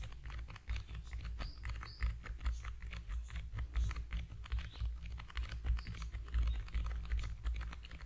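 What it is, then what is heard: Cardboard box. A small, long, narrow, hollow cream-yellow cardboard product box, held in both hands over a foam-covered microphone, is tapped rapidly with the fingertips. The result is a dense stream of quick, dry, hollow taps with a strong low thump beneath them and faint bright clicks on top.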